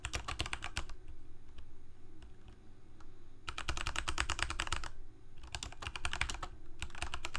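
Both hands type rapidly with their fingertips on a full-size black plastic Corsair K68 mechanical keyboard with Cherry MX Red switches and blue backlit keycaps, resting on a white desk. Dense bursts of sharp, bright, short clacks alternate with a quieter stretch of only scattered key presses, all over a steady low hum.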